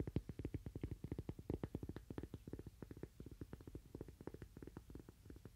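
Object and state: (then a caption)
Cork coaster. A thin, solid, toast-shaped cork coaster about the size of a palm is held upright in one hand and tapped and scratched with fingernails. About 37 quick, dull, muffled taps follow one another in a rapid, uneven stream. Each tap is low and soft, dies away almost instantly, and has little brightness.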